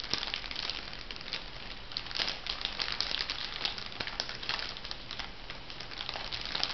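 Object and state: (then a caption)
Crinkly plastic packet. A small light-blue crinkly plastic cosmetic packet, soft and hollow, is held and crinkled by fingertips with long manicured nails. Continuous bright crinkling and crumpling crackles run throughout, with dense sharp rustles.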